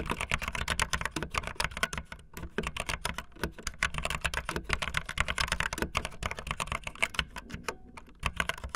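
Fast typing on a full-size backlit plastic Bluetooth membrane keyboard with white and blue plastic keycaps and a hollow plastic body, the keys pressed with fingertips and the tips of long painted nails. A dense, continuous stream of short, bright plastic clicks and clacks with a hollow low thud underneath, each keystroke dying away instantly with no ring.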